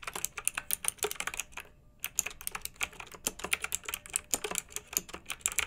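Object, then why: Plastic mechanical keyboard with round metal-rimmed keycaps. Fingertips type on a pink backlit, typewriter-style plastic mechanical keyboard with round metal-rimmed keycaps. Dozens of sharp, bright clicky keystrokes follow one another in quick, uneven bursts, each dying away almost instantly, with a brief pause just before the two-second mark.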